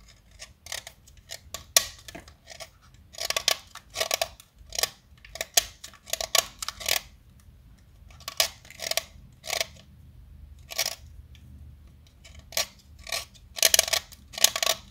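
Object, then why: Stick of chalk. A short, solid yellow chalk stick held between the fingers is cut and shaved with a metal utility knife blade. Quick, dry, bright scraping strokes come in short bursts and clusters, separated by near silence. Each stroke stops almost instantly, with no ring.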